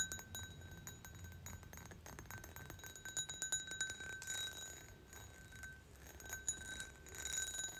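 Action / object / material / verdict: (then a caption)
tap / pressed-glass goblet / glass / none. Long nails and fingertips tap and clink around the fluted bowl of a medium-sized, hollow, empty, ribbed green pressed-glass goblet standing on the floor. Quick, light clicks and brief clinks fall in irregular clusters over a steady bright ringing tone with a high shimmer above it. Each tap dies away almost at once.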